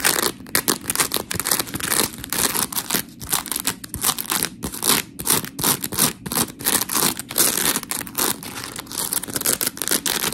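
Long pink nails scratch a white, hand-sized smiley-face scrub sponge of porous polymer foam, then both hands squeeze and squish it. The result is a dense run of gritty, bright scratching and crackling bursts with very little low end, each burst dying away almost at once.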